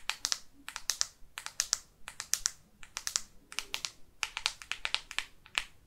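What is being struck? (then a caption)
Plastic smartphone back cover. Long artificial nails tap on the matte plastic back cover of a black Microsoft Lumia phone near the camera. The result is a rapid, uneven series of sharp, bright clicks in small clusters, each dying away almost instantly, with very little low end.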